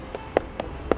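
A durian is knocked four times, giving short, hollow, puffy knocks centered around 460 Hz that die away almost instantly. The loose, hollow sound indicates the flesh inside is ripe.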